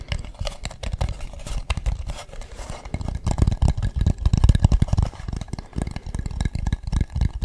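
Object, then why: Carved wooden mask. Fingertips tap and scratch a hollow carved wooden mask with a smooth dark inside and a painted, ribbed front. A steady stream of quick, dull, low-heavy taps mixes with dry scratching, and each hit stops almost instantly with no ring.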